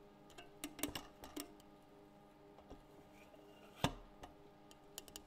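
A French press is tapped, giving a string of light, quick ticks that die away almost at once, with faint ringing tones under them. The taps come in loose clusters, with a few louder ones near the start and a sharp, stronger tap just before the four-second mark.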